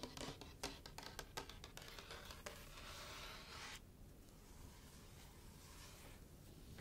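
Long painted nails and fingertips tap and scratch across the glossy paper-and-cardboard cover of a large hardcover picture book lying closed on a white table. Sharp, bright clicks come first, then a steady, hissy scratch that gives way to softer, quieter rubbing.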